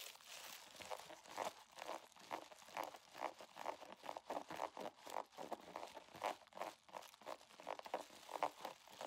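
A holographic vinyl zipper pouch is bent and squeezed in both hands while fingers scratch across it. The result is a quiet, continuous stream of rapid crinkling and crunching bursts, centred around 900 Hz with a bright, hissy top and no low end. Each crackle stops almost instantly.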